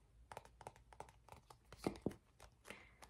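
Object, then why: Plastic squeeze tube. Fingertips and short nails tap and scratch an empty, hollow gold plastic cosmetic squeeze tube about hand-length. A quiet series of short, dry taps and scratchy rustles follows, with two louder, sharper clicks near the middle.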